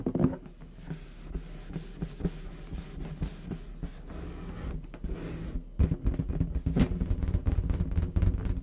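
Fingertips of both hands rub and tap the surface of a medium orange latex balloon, inflated with air and hollow, held close to the microphone. Soft, dull rubbing and scattered low, muffled thumps continue throughout, with the taps growing louder and denser in the last few seconds.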